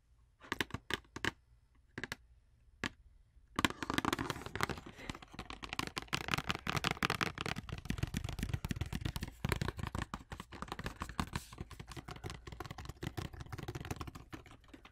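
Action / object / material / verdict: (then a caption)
tap / cardboard wax paper box / cardboard / none. Long orange nails tap on the side and end of a hollow, long rectangular printed cardboard wax paper box held in one hand. A few separate, sharp, dry taps come first, then a fast continuous flurry of hollow clicking taps with no ring, carrying a low papery thump under a bright crackly edge.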